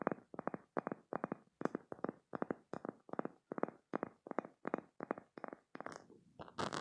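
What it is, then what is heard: Silicone squeeze toy. A green spiky silicone stress toy is squeezed and scratched with short painted nails, giving a steady run of short, rubbery squelching bursts that come in quick pairs and triples with a mid-low tone. Near the end the pattern breaks into a drawn-out, fading scrape, then a bright, hissy scratch.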